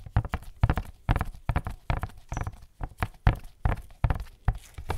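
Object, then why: Cardboard gift box. Latex-gloved fingertips tap a tall, hollow black printed cardboard Barber Jack gift box held in one hand. It makes a rapid, uneven run of dull, low, hollow thuds that stop almost instantly, with little brightness.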